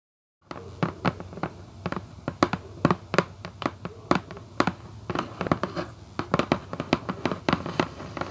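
Long white coffin-shaped acrylic nails on both hands tap rapidly on the closed lid of a red Vans cardboard shoebox lying flat and hollow. The result is a quick, uneven stream of short, dry clicky taps, each with a hollow low thump that dies away almost instantly, over a faint steady hiss.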